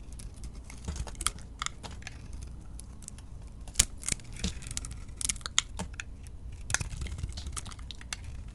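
A metal utility-knife blade shaves curls off a hand-held solid bar of soap with a teal and yellow glitter coating and a lilac interior. Quick, dry, crinkly scraping strokes with bright, crisp edges come and go over a soft, steady low hum. Each cut stops sharply with no ring.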